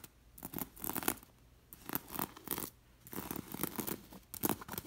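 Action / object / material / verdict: scrape / linen cushion with glass beads / linen, glass beads / none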